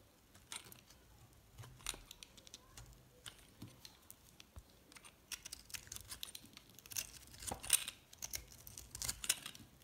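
A metal box-cutter blade scrapes and chips at a yellow and white solid recycled soap bar. The result is a quiet run of dry, bright scraping and crackling with short, irregular clicks and crumbling bits, louder toward the end.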